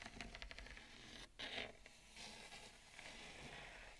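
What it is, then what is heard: Bamboo plate. Long acrylic nails tap and scratch the rim of a wide, shallow bamboo serving plate with a ceramic bowl of roasted pumpkin seeds resting on it. Quick, light taps come first, followed by soft, bright scraping strokes. The sound is dry and close, with little ring after each touch.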